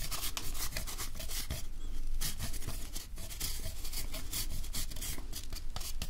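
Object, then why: Chocolate bar on a metal grater. A hand-sized solid milk chocolate bar, held in one hand, is scraped repeatedly with a handheld metal grater over a mug of hot chocolate. Continuous dry rasping strokes run back to back, with bright, crisp grating bursts over a steady low rumble.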